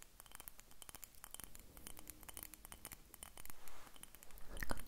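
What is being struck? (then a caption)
Small glass dropper bottle. Long nails tap and scratch a small faceted purple glass dropper bottle with a dropper cap, held near the recorder. Quick, irregular bright clicks and ticks come in a dense stream, and short scratchy swells build toward the end.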